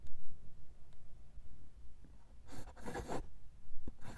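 A steel fountain pen nib held in the fingertips writes cursive words in dark green ink on a single sheet of lined paper. Quiet low background gives way to bursts of light, bright scratching as the nib drags across the paper, with short pauses between strokes.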